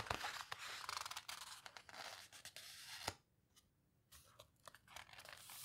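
Long-nailed fingers squeeze and rub across the pages of an open paper photo book, with some page turning. Bright, papery rustling and scratchy crinkles come in quick, uneven bursts. There is a near-silent pause in the middle before softer rubbing resumes.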